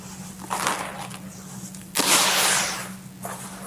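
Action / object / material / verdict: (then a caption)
scrape / loose red soil / soil / none. Bare hands scoop dry, loose red soil from a full bucket, let it pour back in and press into it. The result is bright, grainy, dusty rustles and crumbles in separate bursts, the loudest and longest around the middle. A faint steady low hum sits underneath.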